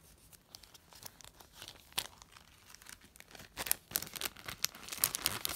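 Fingertips with long painted nails lift one sheet from a flat stack of thin, translucent, empty glassine paper bags, rubbing and crinkling it. Quiet, papery crackles and tearing-like rustles come in quick, irregular bursts, mostly bright and high with almost no low end. The crinkles grow louder and denser toward the end.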